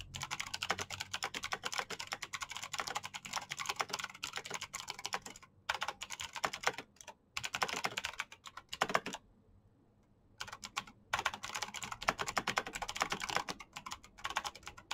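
Fast fingertip typing on the keycaps of a black plastic mechanical keyboard produces a dense stream of bright, short clicks. The typing pauses briefly around 5.5 s and 7 s, then stops fully for about a second near 9.5 s before resuming at the same rapid pace.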